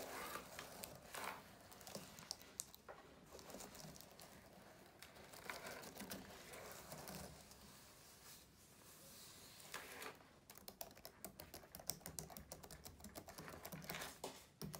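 Hands rest on a black plastic laptop keyboard, then fingertips type on its keys. The result is quiet, bright, crinkly tapping that comes in loose bursts, with a fast, dense run of sharp clicks near the end.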